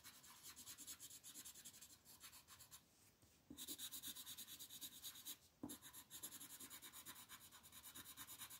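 A green wooden colored pencil held in the fist shades the leaves of a flat printed paper coloring sheet resting on a table, using fast strokes. A steady stream of bright, scratchy rasping strokes repeats at about three per second, with two brief pauses around the middle.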